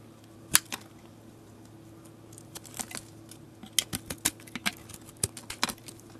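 A metal utility blade scrapes a solid white soap bar with a glitter remnant at one end, shaving off curls. It makes a series of short, sharp, bright scraping clicks that stop almost instantly, with a quieter pause near the middle. A faint, steady low hum runs underneath.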